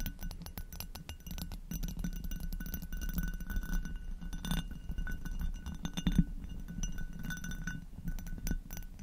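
Long nails tap and scratch both sides of the textured bowl of an upside-down, hollow, empty amber hobnail glass goblet. The result is a dense, steady run of quick, dry clicks and scraping rasps with a low, hollow body, plus faint bright glassy glints that die away almost instantly.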